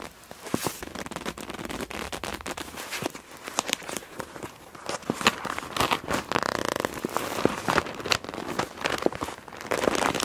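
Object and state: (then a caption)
PVC pouch full of plastic markers. A clear PVC zip pouch printed "Wind Blows," full of plastic felt-tip markers and resting on a black cloth, is gripped and squeezed with long nails and fingertips. The result is a continuous run of bright, crisp plastic crinkling and crackling, broken by sharp, short clicks and ticks that may be the markers rattling inside.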